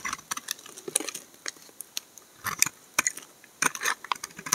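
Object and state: Laundry soap bar being shaved.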